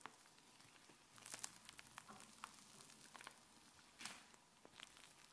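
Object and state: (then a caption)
Fluffy slime being pressed and stretched. A large sheet of white fluffy slime spread on a countertop is pressed and dragged by fingers, folding over and stretching into strands. Quiet, bright squishing and crisp crackling pops come in a steady stream, with a louder burst of crackles partway through.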